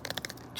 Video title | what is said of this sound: ASMR Tapping on Pokemon Collection Extras | press a whole bunch of them like that, just sounds like wood again